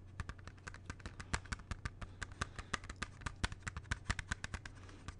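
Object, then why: Plastic CD jewel case. Fingertips tap quickly on the front of a closed, hollow plastic CD jewel case held low, making about thirty short, dry, bright clicks in an uneven rapid patter. A steady low hum runs underneath throughout.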